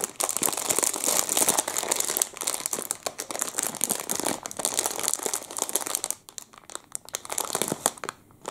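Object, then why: Thin plastic wrapper around a muffin. A clear plastic wrapper around a whole chocolate muffin is crinkled and squeezed with the fingers of both hands. It gives a dense, bright crinkling and crackling that runs steadily for about six seconds, then thins into sparser, quieter crackles as the handling eases off.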